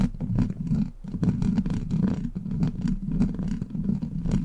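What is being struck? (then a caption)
Steel wire-mesh microphone grille. Long black pointed plastic claw nails scratch and tap across the hollow, rounded steel wire-mesh grille of a large silver USB microphone. The result is a steady, dense scratching rumble with a low hum around 190 Hz, broken by quick, dry taps. The sound carries almost no high or bright content.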